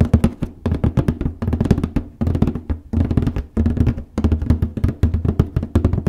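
Fingertips with painted nails tap and scratch the top lid of a large white printed cardboard copy paper box (an Apex Plus paper case) lying flat. Quick bursts of dull, deep taps patter in uneven runs, with short rasping scratches between them and very short ring.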